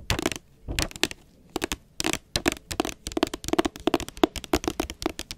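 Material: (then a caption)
Cardboard. Long acrylic nails tap the front cover of a solid blue hardcover book, "More Than Enough," which has a glossy jacket. The result is quick, dry, bright clicks with a hollow tone near 330 Hz. They come in rapid clusters separated by short pauses, and each tap dies away almost at once.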